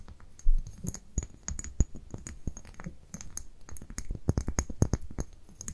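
Long nails tap and scratch a small amber-brown glass dropper bottle held in the hands. A quick, irregular run of sharp clicky taps mixes with scratchy rubbing over a soft low rumble. Each tap dies away almost at once.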